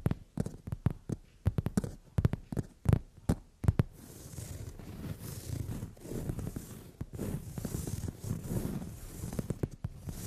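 Long nail tips tap rapidly on a brown leather padded sofa seat, making sharp, dull knocks with almost no ring for the first four seconds. The sound then turns into a steady low rustling scratch across the leather, with a soft bright hiss and occasional tap.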